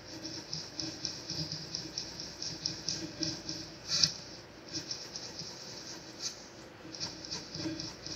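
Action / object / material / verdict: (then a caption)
scrape / graphite pencil on a sheet of drawing paper / paper / none. A black mechanical pencil held in the fingertips shades and sketches with graphite across a single thin sheet of drawing paper lying flat on a grey desk. Soft, bright scratching and hiss come in short, uneven strokes with small ticks, and one louder stroke sounds about halfway through.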